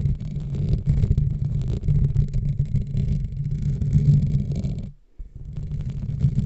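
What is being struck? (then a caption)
Metal wire-mesh microphone grille. Long nails on both hands slowly scratch over the top and sides of the dark metal wire-mesh grille of a large USB desk microphone with a hollow head. The result is a dense, boomy low rumble with steady scraping texture, almost all of it below 200 Hz. It drops to near silence for a moment around the five-second mark, then resumes.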